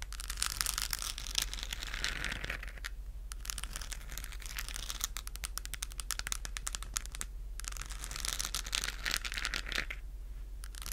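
Long acrylic nails scratch a hollow, lit, textured plastic galaxy moon lamp held close to the mic. Bursts of dense, bright scratching alternate with stretches of rapid tapping-like clicks over a steady low hum.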